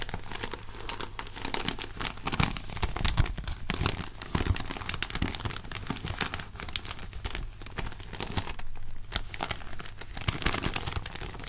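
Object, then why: Paper popcorn bag. White cotton-gloved fingers open and crinkle an empty, thin, hollow red-and-white striped paper popcorn bag, crumpling and rubbing it. The result is a continuous stream of dry, papery crackles and crinkles with bright, crisp edges over a steady low hum.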